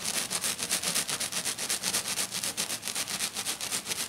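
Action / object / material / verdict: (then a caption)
scrape / silver glitter sheet / glitter / none. Both hands scratch aggressively with short dark-painted fingernails across a flat silver glitter sheet lying on a table. About twenty fast, evenly spaced scraping strokes sound as a bright, hissy rasp with almost no low end.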